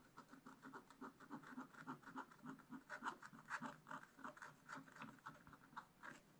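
A wooden stylus scratches the black coating of a flat scratch-art page in a spiral-bound book. It makes a quick, uneven series of short, dry scratching strokes with a papery rasp centered around 1 kHz, a lower scraping tone beneath, and faint bright edges.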